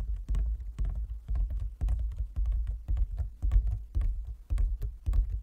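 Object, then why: Closed wooden folding chess board. Fingertips and nails of both hands tap quickly on a large, closed, hollow wooden folding chess board. The result is an uneven stream of deep, hollow, low thuds that stop almost at once, with faint bright clicks from the nails.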